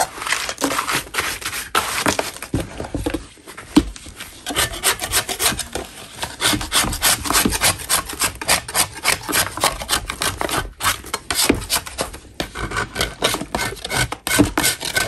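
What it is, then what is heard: Natural chalk block being scraped. A solid lump of natural chalk is scraped with a metal spatula held in a gloved hand. Quick, irregular rasping strokes follow one another across the whole clip, dry and gritty with a bright, hissy edge and little low end.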